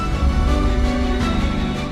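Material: Nothing is struck.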